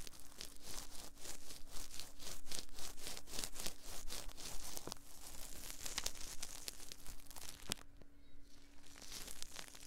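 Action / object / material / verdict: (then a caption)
scrape / silicone microphone ear molds rubbed with cotton swabs / silicone / none. Cotton swabs held in both hands rub inside the ear canals of the soft silicone ear molds on a binaural 3Dio microphone. A steady run of quick, scratchy friction strokes is heard, with a few sharper bright clicks toward the end.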